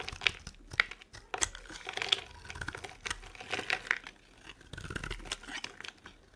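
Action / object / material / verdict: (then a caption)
scrape / bar of soap carved by a metal blade / soap / none. A solid, dry, pale green soap bar held in the palm is carved and scraped with a metal blade, peeling off ridged shavings. The sound is a string of crisp, dry scrapes and crackly clicks, bright and crunchy with little low end, and each stroke cuts off quickly with no ring.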